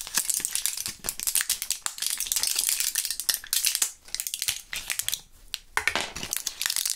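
A small clear plastic blister pack with foil backing, partly filled with purple gum pellets, is held in both gloved hands and shaken and squeezed so the pellets rattle inside the blisters. The result is a dense stream of bright, crisp rattles and crinkles with almost no low end, broken by a few brief lulls.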